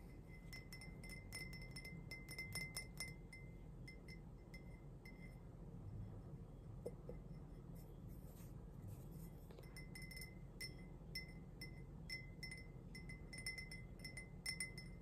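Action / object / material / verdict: tap / glazed ceramic mug / ceramic / none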